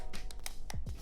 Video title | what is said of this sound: Sony FE 50mm F1.8 Review - BEST Budget Prime | once I knock on it, you can clearly hear that it's not made of a high quality metal